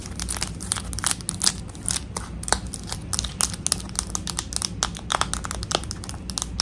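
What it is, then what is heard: Plastic slime tub. Long acrylic nails tap rapidly on the sides and clear dome lid of a full, medium pink plastic slime tub. The result is a fast, uneven stream of sharp, bright, crinkly clicks over a low steady hum.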